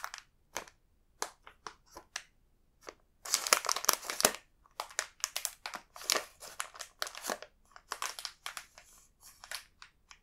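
A large, full multipack bag of coconut biscuits made of printed plastic film is held and turned in the fingers. Its film crinkles in bright, crisp bursts, with brief crackles separated by short silences and a denser stretch of continuous crinkling near the middle.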